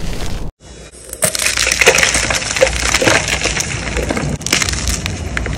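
A solid white, palm-sized gym chalk (magnesium carbonate) block is crushed and crumbled between fingers with lavender-painted nails over a tray of chalk powder. Dense, bright crackling and gritty crunching run almost continuously, broken by a brief silent gap near the start, with sharp snaps standing out as the block breaks apart.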